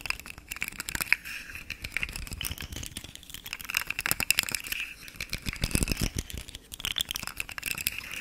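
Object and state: Plastic articulated fidget slug toy.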